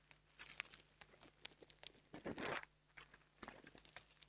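A small black foam microphone windscreen is pinched between fingertips with long nails, then squeezed and rubbed. The result is a quiet stream of soft crackling and rustling with bright, sharp ticks. The loudest, denser crunching burst comes around the middle of the clip.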